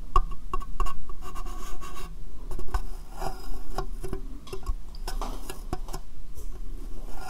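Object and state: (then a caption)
Hollow clear plastic box. Long painted fingernails tap on a small, hollow, empty transparent plastic box set upside down over the microphone. The irregular taps give sharp clicks over a deep, hollow low thump near 59 Hz. The box muffles each tap, so there is little brightness and almost no ring.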